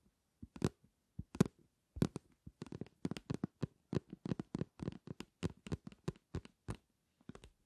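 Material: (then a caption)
Plastic. A medium, flat, translucent green plastic bottle filled with aloe vera gel is held in both hands and rapidly tapped and scratched with long nails. The result is a quiet, irregular run of short, dull, low taps, each with a crisp bright click and quick scratchy edges and no ring, separated by brief gaps.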